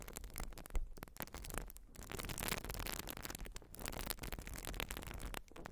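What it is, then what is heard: Urethane foam sponge being scratched. Long nails scratch across a white urethane foam sponge, making a dense, continuous crackling rasp with bright, airy texture over a low rumble. The scratching comes in quick strokes separated by brief quiet gaps, staying soft and close throughout.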